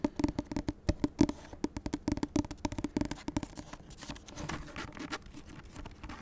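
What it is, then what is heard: Hardcover book with cloth cover. Long nails tap quickly on the matte, cloth-like board cover of a large grey hardcover book with a solid paper block, giving short dry knocks with a muted hollow tone near 280 Hz. The tapping then gives way to softer, continuous scratching as the nails move to the page edge.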